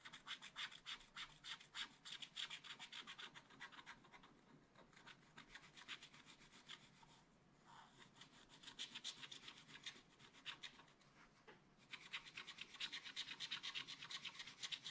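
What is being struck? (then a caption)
Coated scratch paper scraped with a wooden stylus. A wooden stylus scratches a macaron shape into a black coated scratch art paper page in repeated strokes. Quick, bright, dry scratching strokes come in fast runs, thinning out briefly around the fifth and eighth seconds before building back to a dense, steady scraping.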